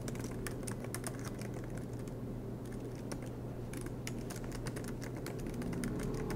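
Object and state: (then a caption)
Laptop keyboard keys being typed on. Both hands type continuously with their fingertips on the black plastic low-profile keys of a MacBook Pro laptop, which has a silver aluminum body and rests on a green desk mat. Rapid, uneven bright key taps sound over a steady low hum throughout.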